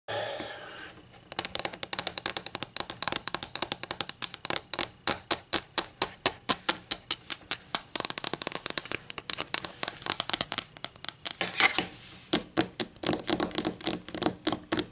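Long green acrylic nails tap and scratch across the surface of a solid, flat wooden 12-inch ruler with a printed scale lying on a table. A soft scratching opening gives way to a rapid, steady series of crisp, bright clicks with very little low end and almost no ring.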